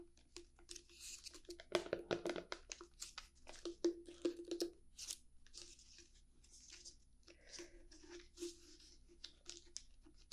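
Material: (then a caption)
Plastic. Long painted fingernails tap and scratch the sides and lid of a small round clear plastic tub with a white label, holding green slime, held in both hands. Quick, irregular, bright clicks and scratchy rasps sound close up, with a faint hollow plastic tone under the louder taps. It ends in softer scratching and scattered light taps.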